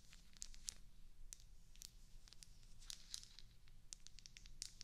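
Long acrylic nails tap and scratch over the rounded bubble bumps of a small solid white wax cube candle held in the hands close to the mic. A quick, uneven run of sharp, bright clicks and scrapes rises over a quiet, steady low hum, each tap dying away almost instantly.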